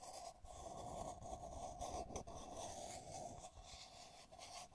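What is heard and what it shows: Long nails tap and scratch the outside wall of a hollow pink matte ceramic mug with lettering, held in the hands. A soft, continuous scratchy rasp carries a steady mid-pitched ring from the mug's body, with brief quieter dips between strokes and faint bright hiss above.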